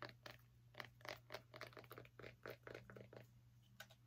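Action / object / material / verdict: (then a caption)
scrape / small pumpkin / pumpkin rind / none. Long nails scratch across the skin of a small orange pumpkin in about fifteen quick, irregular strokes, each a short, dry, bright rasp. The strokes are quiet and close, over a steady low hum.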